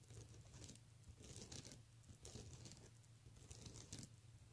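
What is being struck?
Plastic beaded handbag.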